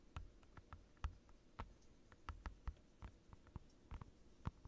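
Fingertips and short nails of both hands rapidly tap a clear plastic desk mat, a large, thin, transparent, glossy sheet with curled edges lying flat on a dark desk, close to the microphone. Soft, quiet, irregular taps come with short, dull low thumps and faint brief clicks that die away almost at once.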